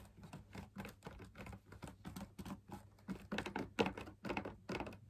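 Fingertips tap the rim and outer surface of a hollow drum lamp shade, made of fabric laminated on a stiff perforated backing and held up in the air. About 22 quick, uneven taps give a soft, dry, hollow patter with a low-mid body. Each tap dies away almost at once.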